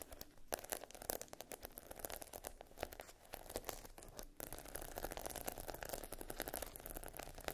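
Long nails scratch and tap across the rows of a flat sheet of small adhesive plastic half-pearl stickers on a dark backing. The result is a dense run of quick, dry clicks and scratchy rasps with no ring, and the scratching grows steadier and fuller in the second half.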